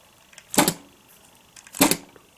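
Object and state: RC car rear suspension too bouncy (double tap on landing).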